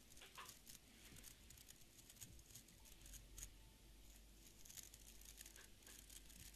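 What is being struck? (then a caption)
Beard brush with wooden back and stiff fibre bristles. A small beard brush with an orange wooden back and stiff fibre bristles is held in one hand while fingernails strum and flick along the bristles. The result is a quiet, steady run of dry, crisp scratches and ticks with bright, high crackle, like soft patter over a low hum.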